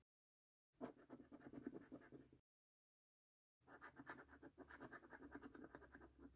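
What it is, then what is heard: Paper scratch card being scraped. A coin scratches the latex number panels of a paper Prize Portal scratch card lying on a table. Two bursts of rapid, gritty rubbing strokes are separated by about a second of silence, with a soft scraping tone centered in the low mids and a faint bright hiss.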